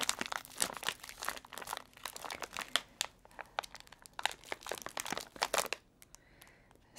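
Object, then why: Biscuit roll in a crinkly plastic wrapper. A Fox's Crunch Creams biscuit roll, about 20 cm long and full of biscuits, is held in both hands while its crinkly plastic wrapper is squeezed and rubbed with the fingertips. Dense, bright crinkling and crackling run for about six seconds, with many sharp bursts. The sound then fades to near silence with a few faint ticks.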